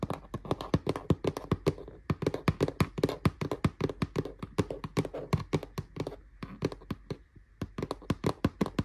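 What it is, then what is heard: Woven plastic storage drawer unit. Fingernails and fingertips tap on the rattan-style woven plastic front of a large, hollow, dark grey storage drawer unit with a metal-look handle. The result is a rapid, steady run of short, dry, hollow taps with a low, dull body and almost no ring. A few brief pauses break up the run.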